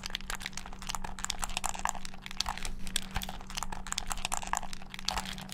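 A hand-sized, hollow black plastic gamepad is held close to the mic and then to the side while thumbs and fingertips rapidly mash its buttons. Dense, irregular bursts of sharp, bright plastic clicks and taps run throughout, over a steady low hum.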